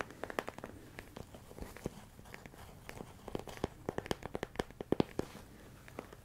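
A medium, hollow, clear plastic storage container full of rice grains is held close and tapped and scratched with fingertips and nails. The result is a quick, irregular run of dry, sharp clicks and scratchy crackles with no ring, over a faint rustle, in a soft, close sound.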